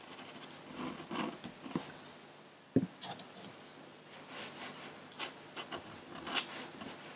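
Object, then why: Steel dip-pen nib on drawing paper. A metal nib on a steel dip pen scratches short strokes and hatching across a large sheet of flat drawing paper. The result is a series of dry, bright scratches and soft raspy strokes, with a sharper tap of the nib just before the three-second mark, over a quiet background.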